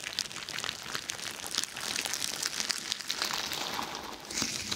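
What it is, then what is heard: Bead-filled squishy ball. A crinkly bingsu ball, a stretchy plastic skin filled with plastic beads, is held by one ear of the microphone and squeezed and scratched with long nails. Bright, dense crinkling and crunchy clicking fill the clip with almost no low end, growing fuller and steadier after the first couple of seconds.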